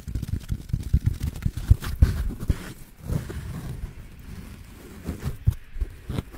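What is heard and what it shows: Fingers squeeze, scratch and rub a soft, hand-sized yellow foam kitchen sponge block with a green abrasive scouring layer close to the microphone. The sound is a dense run of low, dull, muffled thumps and crackles with no ring, busiest in the first half. It then eases into quieter rubbing with a few sharper taps near the end.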